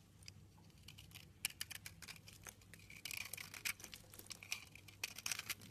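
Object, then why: Bar of soap. A utility knife scrapes chunks and shavings off a light green soap bar, making a rapid run of crisp, bright scratching and crackling ticks with a faint low hum beneath. The scraping grows denser and louder in bursts in the second half.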